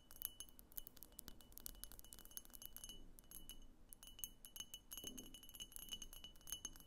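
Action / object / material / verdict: tap / frosted glass lamp shell / glass / none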